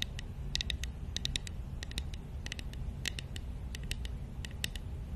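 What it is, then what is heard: Wooden matryoshka doll tapped with nails. Long nails tap rapidly on a small, hollow, painted wooden matryoshka nesting doll held in the hands. The taps make a quick, irregular series of short, dry, bright clicks, with a tone near 3.8 kHz, that die away almost instantly. A steady low rumble sits underneath throughout.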